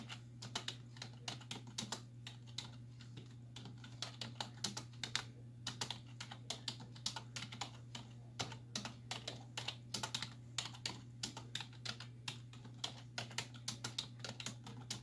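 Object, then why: Plastic computer keyboard. Long white-tipped nails and fingertips type rapidly on the hollow keys of a black full-size plastic computer keyboard resting on a wooden desk. Each tap is a short, bright clack that dies almost instantly, centered around 3.7 kHz. The taps run in uneven bursts over a steady low hum.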